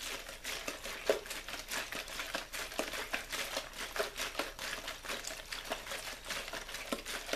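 A small clear plastic water bottle with a blue label is held up and shaken or squeezed by hand, while a white controller lies unused on a wooden board nearby. It makes a steady run of quick, bright crinkles and crackles with almost no low end, each snap dying away almost instantly.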